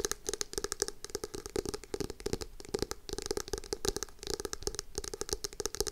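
A navy hardcover notebook with foil lettering is held upright in both hands while its cover is tapped and scratched with long acrylic nails. Quick, dry clicks and scratchy rasps come in a dense, uneven stream, each tap a short hollow knock with a mid-pitched body that stops almost at once, over bright scraping texture.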